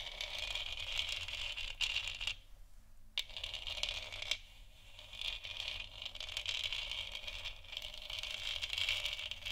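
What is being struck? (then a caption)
Textured plastic moon lamp sphere. Long nails tap and scratch across a large, hollow, textured plastic moon lamp sphere. The result is a dense, bright, crackly stream of quick clicks and scrapes centered around 3 kHz, with two brief quieter pauses.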